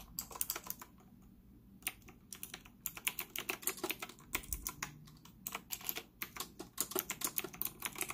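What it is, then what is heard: Plastic mechanical keyboard. Fingertips type rapidly on a white retro typewriter-style plastic mechanical keyboard with round plastic keycaps and an integrated stand, set on a desk in front of a laptop. Quick, bright clicky keystrokes come in bursts with brief pauses, each one short and dry with a hollow plastic tone from the casing.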